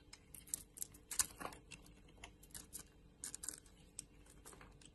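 A utility knife blade shaves and cuts a solid oval bar of soap, purple outside and white inside, held in a hand with long nails. A quiet string of short, crisp, bright scrapes and ticks follows, each dying away almost at once.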